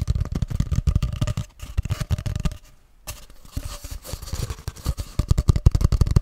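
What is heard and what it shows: Fingertips tap rapidly along a long, hollow grey cardboard tube, first held upright and then horizontally close to the mic. The result is a quick, irregular patter of dull, low, hollow thumps with very little high content. The tapping dips into a quieter, sparser stretch near the middle before picking back up.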